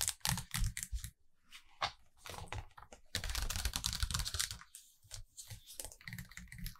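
Long acrylic nails tap rapidly on the glossy paper pages of a large open hardcover photo book, making quick, irregular clicks with a dull low thud beneath them. A louder papery rustle comes midway, and by the end a page is turned to a new spread before the tapping resumes.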